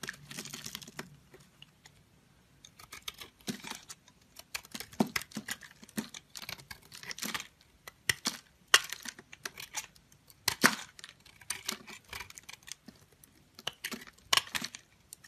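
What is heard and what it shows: A palm-sized solid soap bar with a dark speckled outer layer and a lilac core is held in hand and carved and scraped with a metal box-cutter blade, shedding purple shavings. Bursts of dry, crisp scraping and sharp ticking clicks come in irregular clusters with short quiet gaps. The sound is bright and papery with almost no low end, and each click dies away almost instantly.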